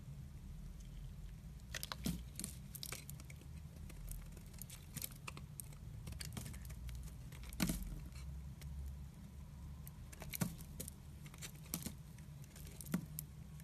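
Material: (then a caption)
Soap. A red-handled utility knife carves and scrapes shavings off the corners of a solid, pale-yellow, hand-sized bar of soap held in the fingers. Soft, crisp scraping and crackling ticks come in short bursts, with a few sharper bright snaps, over a steady low hum.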